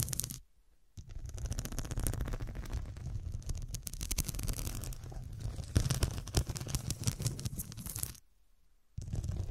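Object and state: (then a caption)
Glass-studded pillow scratched with nails. Long dark nails scratch and tap across the square faceted glass studs on a fabric cushion. A dense, rapid stream of gritty scratching and clicking taps carries a heavy low rumble with a bright edge. It stops for two short silent gaps, near the start and near the end.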